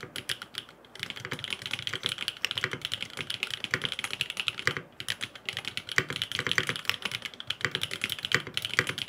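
Fingertips type rapidly on a grey aluminum FROG MINI mechanical keyboard with blue and purple plastic keycaps and no foam inside. The dense, bright keystroke clicks are short and crisp with almost no low end, and the typing pauses briefly around the one- and five-second marks before continuing.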